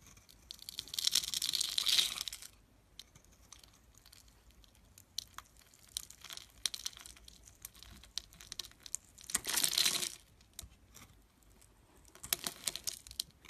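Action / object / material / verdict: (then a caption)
scrape / bar of soap scraped with a thin metal blade / soap / none. A thin metal blade scrapes and shaves grooved strands off the scored surface of an oval, solid, bright green bar of soap held in the hands. Three bursts of dense, bright, crackly scraping stand out, near the start, around the ten-second mark and near the end. Between them come quieter, irregular ticks and crinkles.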